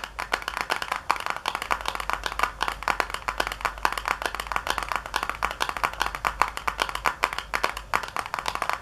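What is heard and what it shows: Long nails tap rapidly on the back panel of a small, hollow white paperboard box resting on a counter. The result is a dense stream of short, dry, papery clicks centred around 1 kHz with bright edges, over a faint steady low hum.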